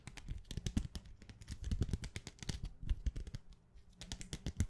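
A thin set of rainbow-colored plastic sticky bookmark tabs on a clear plastic plate, held in the hand, is tapped very fast with long nails. The result is a dense, uneven stream of short, dry clicks and taps with a soft low thump under each and a bright crisp edge, dying away almost instantly. There is a brief quieter gap before the rapid tapping resumes.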